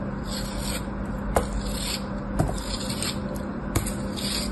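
A metal blade scrapes and slices facets off a solid, palm-sized beige kinetic sand cube, and the sand crumbles away. A soft, steady gritty rubbing with a low hum underneath is broken by three sharp, brief ticks.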